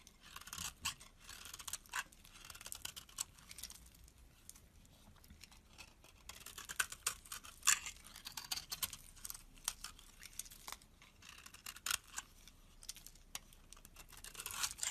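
A solid cream bar of soap held in the hand has its surface and edges scraped with a metal box-cutter blade. Quiet, dry, bright scraping and shaving strokes come in rapid irregular bursts with little low-end body. Occasional sharper scrapes stand out above the soft, continuous shaving.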